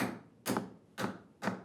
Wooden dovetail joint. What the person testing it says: that's much looser on that one so this one's tighter on this on my right